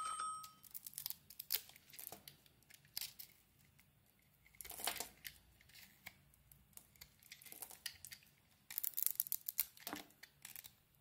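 A utility knife blade shaves and scrapes curls off a solid oval Fa soap bar, glitter-coated in purple and blue and held in the hand. Quiet, bright, dry scraping and crisp tearing strokes come in quick irregular runs, with longer, louder shaving passes around the middle and near the end. Each stroke stops short with almost no ring.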